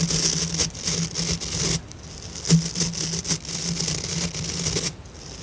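A light blue plastic scrub brush head with thick white synthetic bristles is held in both hands while fingertips and long nails rub and flick the bristle tufts. The result is a steady, bright, crackly scratching with sharp flicking clicks, over a low hum that drops out now and then.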